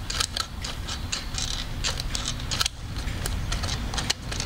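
Fingers work the eye-change mechanism on the hard plastic head of a blonde Blythe doll held beside a binaural microphone. A quick run of sharp, bright clicks and ticks sounds over a steady low rumble, with each click dying away almost at once.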